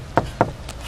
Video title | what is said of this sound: Art and Soul - A day at the workshop of the cane weaver | when you knock wood, the knocks comes back. Oh, Plywood, okay. When you knock plywood, it's very dull. You can't hear the sound.